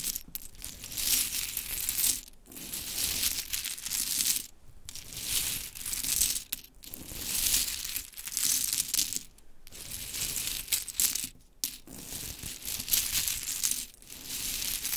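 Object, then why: Small wooden mini clothespins. Long chrome nails scratch through a pile of pink wooden mini clothespins, then hands scoop up handfuls and drop them so they clatter down. The sound is a bright, dense rattling and clicking made of repeated bursts separated by brief pauses.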